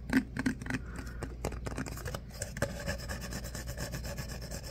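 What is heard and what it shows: An empty, hollow, tall disposable paper coffee cup with a ribbed, corrugated outer wall is scratched and rubbed along its ribs with the fingertips, then held up. Quick dry scratching strokes come first, each with a brief low tonal knock. They settle into a softer, steady rasping rub.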